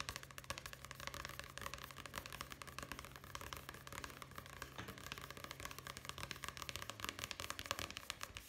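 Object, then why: Paperback book with paper cover. Fingertips tap rapidly on the paper cover of a solid paperback book, "Primavera con una esquina rota," held upright. A continuous stream of quick, dry, papery taps with bright highs and no ring runs throughout, over a faint steady low hum.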